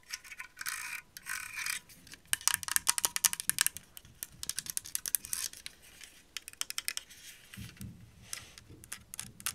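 A grey plastic heated hair straightening brush is held in the hands while long acrylic nails scratch and flick across its rows of plastic bristles and tap its hollow handle. Bright, crisp clicking and scratching comes in fast irregular bursts, with a few duller, lower taps near the end.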